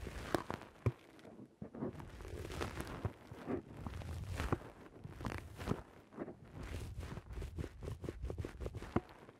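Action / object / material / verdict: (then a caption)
scrape / foam microphone windscreen / foam / none. Fingers squeeze and rub the sides of a black, rounded foam windscreen on a microphone. The result is a close, low, muffled rustling and crunching, broken by repeated sharp crackling pops throughout.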